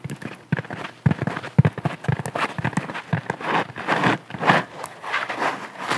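A round, porous yellow sponge hanging on a string is held in both hands while long nails scratch and squeeze it. Irregular bursts of soft crackling, scratching and squishing come in quick, uneven succession, mostly low and muffled with occasional brighter scrapes.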